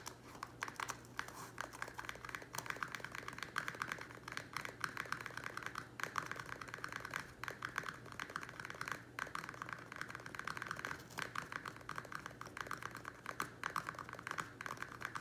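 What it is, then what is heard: Plastic plant pot. Fingertips and nails tap fast on the rim and sides of a small, square, empty black plastic nursery pot standing on a wooden table. The result is a dense, continuous run of quick, dry, clicky taps with a hollow plastic tone centered around 1.2 kHz, bright edges, and almost no ring after each hit. A faint steady low hum sits underneath.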